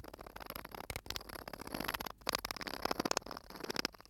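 Fingertips tap and scratch the metal screw cap and the glass of a small, sand-filled glass bottle held close to the mic. Quiet, quick ticking taps mix with a bright, scratchy rustle, each tap dying away almost instantly.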